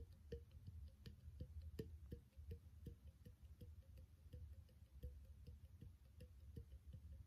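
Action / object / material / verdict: tap / small clear glass bottle / glass / none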